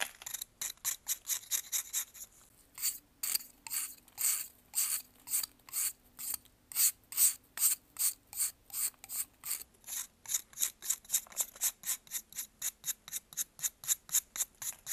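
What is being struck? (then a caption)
Pressed baking soda block scraped by a metal knife. A metal knife scrapes shavings off a solid white pressed baking soda block held in blue gloves. Dozens of short, bright, raspy strokes repeat at roughly two per second, with several longer, louder scrapes in the middle and quicker, lighter ones at the start and end. The sound is almost entirely high, dry hiss with no low end.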